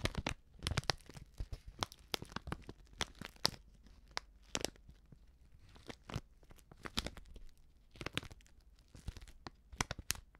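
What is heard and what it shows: A small, flat, filled Betty Bossi Fladli instant soup packet made of plastic foil is turned in the hand while long nails and fingertips crinkle and scratch it. The result is a quick, irregular series of sharp, bright crackles and tearing-like crunches with very short decay and quiet gaps between bursts.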